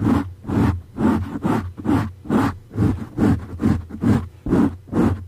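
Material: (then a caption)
Foam. Fingertips and nails of both hands scratch and rub a dark grey soft foam windscreen covering a condenser microphone. The result is a steady, rhythmic series of muffled, close scratching and rustling strokes, heavy in low rumble. Each stroke is short, with little bright top end.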